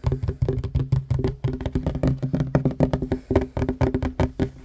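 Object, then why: Wooden table top. Fingertips and short nails of both hands tap fast on a flat, solid wooden table top. About thirty quick, dull knocks come in uneven rapid bursts, each one short and dry with a warm low body and a faint click on top.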